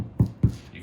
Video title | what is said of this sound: Tartine Bread Step-by-Step : Part 5 - Beginner Mistakes and Tips | You can tap on the loaf. It has that hollow sound, which people look for.